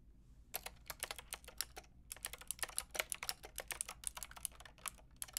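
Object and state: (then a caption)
Plastic mechanical keyboard being typed on. Two hands with long red nails type on a Lofree mechanical keyboard with a plastic frame and round keycaps. About thirty quick, bright plastic clacks come in bursts with a short pause partway through, each dying away almost instantly over a faint low hum.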